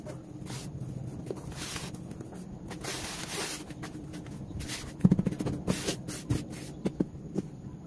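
Bare hands scratch, rub and press through dry, crumbly red dirt powder filling a teal plastic basin set inside a blue tub. Soft, low rustling and brief hissy bursts of loose dirt shifting run throughout. In the second half, a series of short, dull thumps and crunches comes through more clearly.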